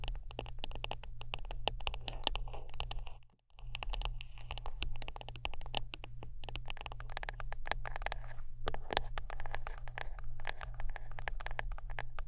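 Close-up tapping and scratching on a wooden brush produce a dense stream of quick, dry clicks and scrapes with bright edges over a steady low hum. The rapid ticking runs throughout and stops briefly just after three seconds before resuming at the same busy pace.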